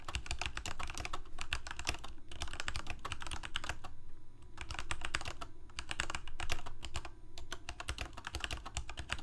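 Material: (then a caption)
Plastic. Both hands type rapidly with their fingertips on a full-size black plastic Corsair K68 mechanical keyboard with Cherry MX Red switches and blue backlit keycaps, resting on a white desk. Quick, short clacking keystrokes with a low, thumpy body come in a steady stream, with only a few brief pauses.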